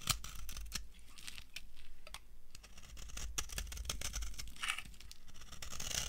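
An old, solid, translucent brown bar of dry soap is carved with a metal knife, leaving a pile of shavings. Rapid crunchy scrapes and sharp crackling cuts follow one another in bright, crisp bursts. A steady low hum sits underneath.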